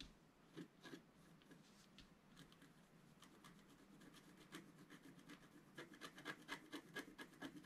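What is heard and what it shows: A wooden stylus scratches details into a thin, flat, black-coated scratch art sheet, making quiet, dry rubbing and rasping strokes. The strokes start sparse and grow quicker and louder toward the end, each a short bright scrape centred near 1.7 kHz.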